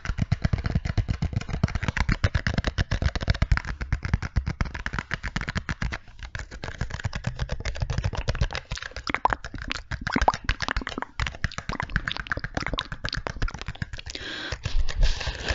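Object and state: Small cardboard box.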